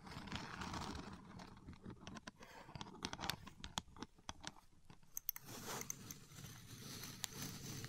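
Long nails and fingertips press, tap and scratch the many thin blue plastic pins of a contour gauge lying flat in its dark frame. A quick series of sharp, bright plastic clicks and ticks rises over a soft, crinkly scratching texture. The scratching swells louder and fuller toward the end.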